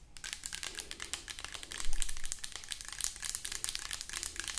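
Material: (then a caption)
Plastic. Long acrylic nails tap rapidly on the body of a hollow white plastic lotion bottle. The result is a dense, continuous stream of crisp, bright clicks with a faint low hum underneath, swelling briefly louder near the middle.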